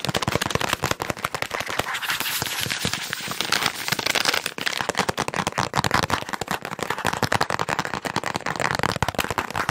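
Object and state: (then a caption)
Plastic wet wipes pack. A hand-sized, partly full, green and white soft plastic resealable wet wipes pack is crinkled, squeezed and tapped with fingertips and nails. The result is a fast, aggressive stream of sharp, dry crackles and clicks, bright and dense, that runs without pause for the whole clip.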